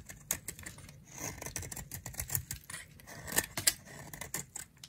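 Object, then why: Round bar of soap shaved with a blade. A utility knife blade shaves fine curls off a solid, dry, round pink bar of soap held in the palm. The cuts make a string of crisp, bright scraping and clicking sounds with sharp ticks and almost no ring, over a faint low rumble.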